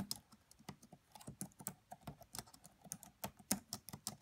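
Fingertips with long nails type fast on a red laptop's black plastic keys, giving about sixteen quick, quiet clicks. Each tap is a crisp, bright tick with a soft low thud and dies away almost instantly.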